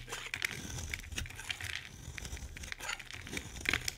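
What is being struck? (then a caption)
Bar of soap shaved with a knife blade. A solid pink oval bar of soap is held in the hand and shaved with a utility knife blade, scraping off curls and flakes. The strokes make dense, crisp scraping and crinkling with bright, high-frequency rasps over a faint low hum.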